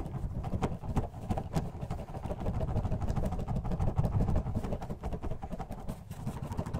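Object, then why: Plastic bottle of water beads. A clear plastic bottle partly filled with purple orbeez water beads is shaken vigorously back and forth in a black-gloved hand. The beads make a continuous, low, muffled rattle and slosh with soft rhythmic thuds. The sound stays fairly steady over the whole clip.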